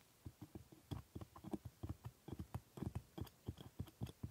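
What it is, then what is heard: Plastic dental model teeth. A steel hooked scaler held in a gloved hand scrapes and taps the hard plastic teeth of a typodont dental model. About fifteen quiet, short, dry clicks and taps follow each other in an irregular patter, each dying away almost instantly. They sound dull and low-weighted, with little brightness.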